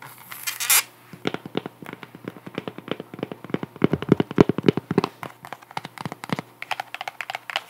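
A white sandal with a solid cork wedge heel is held in the hands while long nails tap and scratch along the cork wedge. A brief bright scratching rush opens the clip, then comes a rapid, uneven run of short, dull, clicky taps that die away almost instantly. A faint steady low hum sits underneath throughout.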